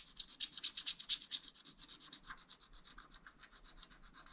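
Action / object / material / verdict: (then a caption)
scrape / wax-coated paper scratch-art card scraped with a wooden stylus / coated paper / none. A wooden stylus scratches away the black coating of a thin wax-coated paper sheet lying flat in a spiral-bound scratch-art pad, working near the bottom of the picture in quick short strokes while a flat hand steadies the pad. The result is a rapid, rhythmic series of dry, bright scratches with a high hiss, louder in the first stretch and then fading into softer, denser strokes.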